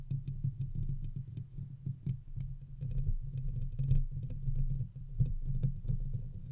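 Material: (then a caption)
Metal mesh. Fingertips and short nails on both hands scratch and tap the hollow round metal wire-mesh head grille of a large silver condenser USB microphone with its foam cover removed. The result is a steady, dense patter of soft scraping and rapid taps that sounds boomy and low-heavy, with faint bright crackle on top and each tap dying away quickly.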